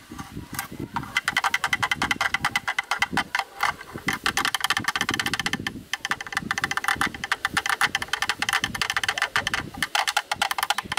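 A thin bamboo stick taps rapidly across the front of a black, rectangular, hollow plastic camera lens hood held facing the camera. The result is a dense stream of short, dry, hollow clicks with a bright, woody tone centered around 2 kHz. Each tap dies away almost instantly, and there is little low end.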